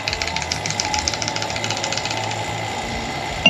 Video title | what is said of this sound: Rebuilding Bypass Shocks W/ ADS Suspension | that rattling you're hearing is the actual bypass valves, not the movement of the piston